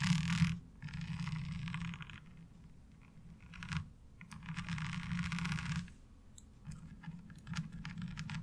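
Long nails on both hands rapidly tap across the ridges of a light blue ribbed plastic laundry washboard. The sound comes in bursts of fast, dry clicking and scratchy rattling with a bright edge, separated by short quieter pauses, over a steady low undertone.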